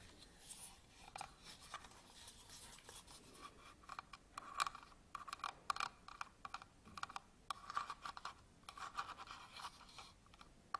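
Long nails scratch and rub the surface of a small, round, hard black plastic lens cap on the end of a camera lens, held in the hands. Quiet, dry, rasping scratches come in irregular bursts, with sharp clicky ticks centered in the low-mid range around 1 kHz and faint brighter hiss. There is almost no low end and the sounds die away at once.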